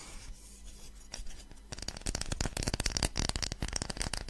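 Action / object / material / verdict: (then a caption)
scrape / small wooden block / wood / none. Long fingernails tap and scratch a small, light-coloured rectangular block of solid wood held in both hands in front of a microphone. Soft, faint scratching for the first couple of seconds gives way to a denser run of crisp, bright clicking taps and dry scrapes over a low hum.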